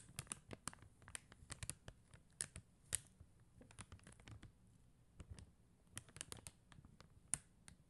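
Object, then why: Acrylic rhinestone stickers on paper backing, tapped with nails. Long teal acrylic nails tap and scratch across a flat sheet of clear and blue faceted plastic rhinestone stickers on white paper backing. The result is a quiet, irregular patter of sharp, dry clicks with bright, high tips and light scraping between them, each tick dying away almost instantly.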